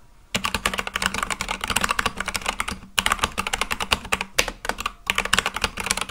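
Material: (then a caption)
Plastic. Fast, continuous fingertip typing on an Akko full-size mechanical keyboard with white and light-blue plastic keycaps on a black case. It makes a dense stream of sharp, bright clacks with very short decay, broken by brief pauses near three seconds and again a little past four seconds.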